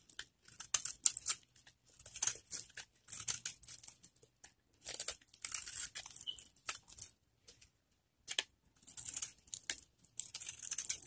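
A metal blade scrapes and shaves the surface of a solid, hand-sized orange bar of dry Camay soap held in both hands, with soap flakes scattered around. Short, crisp, bright scraping and crackling bursts come in clusters separated by brief silences, with almost no low end.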